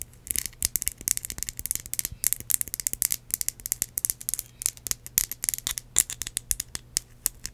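Long acrylic nails tap and scratch a small red glass perfume bottle with a metal spray cap, containing liquid. A rapid, irregular stream of dozens of sharp, bright clicks and brief scratchy bursts follows, each dying away instantly. A faint, steady low hum sits underneath.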